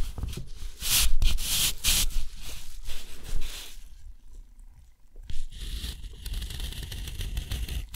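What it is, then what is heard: Steel nib scratching on rough watercolor paper. A steel nib scratches a grid of lines, dots and a long stroke across a sheet of thick, rough, white textured watercolor paper. Bright, gritty scraping bursts come over a steady low rumble, fading quieter around the middle before a sharp stroke starts a longer, even scratch to the end.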